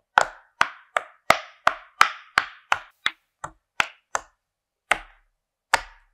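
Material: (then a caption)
Silicone. Fingertips press the hollow domed bubbles of a swan-shaped pastel rainbow silicone pop-it fidget toy lying flat on a white surface, popping them one by one. Fourteen short, crisp pops come at an uneven pace, each a dry snap centered in the midrange with a bright top and almost no ring. A longer gap falls before the last two pops.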